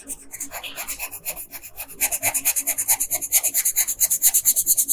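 A red wooden colored pencil scratches across a flat printed paper coloring sheet on a dark desk in dense strokes while coloring in the dress. The bright, rasping scratches come in quick rhythmic repeats and grow louder and sharper after about two seconds.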